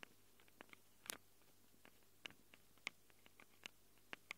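Long acrylic nails scratch and tap the metal mic capsules of a small black handheld Tascam recorder. Thirteen short, dry, bright clicks and scrapes land at irregular intervals over a faint low hum, each one stopping almost at once.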